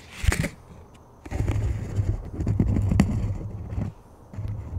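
Fingertips tap and rub the face and rim of a thin plastic frisbee disc with a black stripe. A bright, crackly tap opens the clip, followed by dull, low thumps and scratchy rubbing that pause briefly near the end before resuming.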